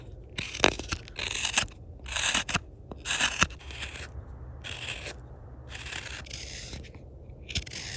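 A steel hook knife held in the fingers hollows the bowl of a hand-held, solid, light-coloured wooden spoon blank, cutting and scraping curls of wood from it. Short bright scraping and slicing strokes come in an uneven rhythm of about one a second, with occasional sharp ticks over a quiet low background.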